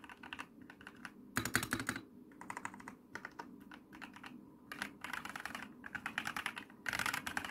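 Rapid typing and tapping with long painted fingernails and fingertips on an RGB-lit plastic mechanical computer keyboard with white and dark plastic keycaps and hollow key switches. Bursts of quick, crisp clacks with bright, short-ringing clicks come in uneven runs separated by brief pauses. The louder bursts have a fuller thock beneath the clicks.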